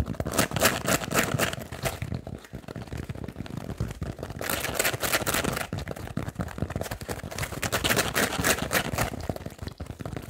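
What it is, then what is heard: Kitchen sponge with scouring pad. Fingernails rapidly tap and scratch on a foam kitchen sponge with a blue scouring pad layer. The result is a fast, irregular stream of dry, crinkly clicks and scrapes with bright high-frequency texture over a soft low thump. Short bursts of busier scratching alternate with quieter stretches.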